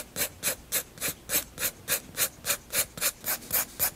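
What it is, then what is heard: Pencil shading on a paper sketchbook page. A graphite pencil makes hatching and shading strokes across the flat white paper page of a spiral sketchbook. Fourteen quick, evenly spaced scratchy rasps sound, each a bright, hissy stroke with a faint low-mid body, separated by near-silence, in a steady back-and-forth rhythm.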